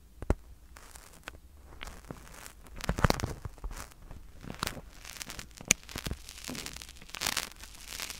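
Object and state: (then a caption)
Foam stress ball. Two small, solid white-and-black soccer-pattern foam stress balls, one held in each hand close to the mic, are squeezed and rubbed with the fingertips. The result is soft crinkling, crackling and tearing-like rustles with short dry scratches and a few sharp ticks, ranging from low thuds to bright fizz.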